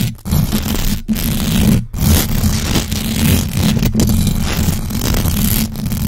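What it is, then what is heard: Metal mesh microphone grille being scratched. Long acrylic nails on both hands scratch fast across the hollow metal mesh grille of a large black USB microphone. The result is a dense, continuous rasping scrape heavy in low rumble, with brief dropouts and a faint bright hiss above.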